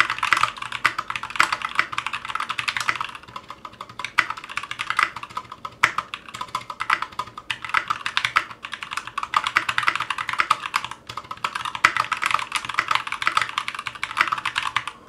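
Fingertips of both hands type continuously on a 60% Clueboard mechanical keyboard with Zealios V2 62g switches, a metal case and GMK ABS plastic keycaps, resting on a cutting mat. It produces a dense stream of short, sharp clacks centered around 2 kHz, with bright high ticks and almost no low end. Brief quieter lulls occur near 3–4 seconds and 11 seconds.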